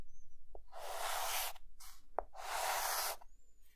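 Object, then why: Chalk stick on a chalkboard. A white chalk stick held in the fingertips draws lighthouse lines and dashes on a flat dark green chalkboard. Two long, bright scratching strokes alternate with short, sharp taps, and a faint high squeak sounds at the start and end.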